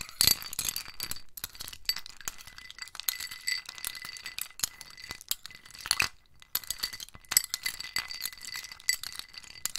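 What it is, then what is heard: Ice cubes stirred in a ceramic bowl. A metal spoon stirs ice cubes in a small white scalloped ceramic bowl held in the hand, rattling and clinking them against the bowl. It makes a steady stream of bright, short clicks and chinks, with a brief quieter pause near the middle before the stirring resumes.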